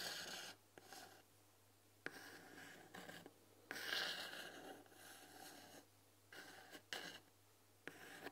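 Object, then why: Painted wooden tea box. A fingernail scratches over the painted "THÉ" letters on the front panel of a white painted wooden tea box, then the hands come to rest on the front. The result is a run of soft, dry, hissing scratch strokes, bright and high in tone with little low end, separated by short quiet gaps, the longest and loudest stroke falling near the middle.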